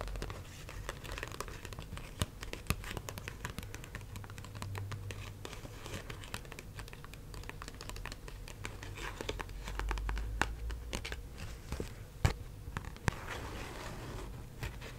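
A single US one-dollar paper bill is held flat in both hands while long acrylic nails tap, scratch and crinkle the paper. The result is a quiet, steady run of soft crinkling and scratching, broken by sharp, short nail taps over a low background hum.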